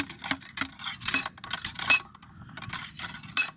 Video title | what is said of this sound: Grouping my 1853 Enfield Pt.1 Black powder | you hear that Ting sound that's how you know it's at the bottom and the energy is transferred properly through the gun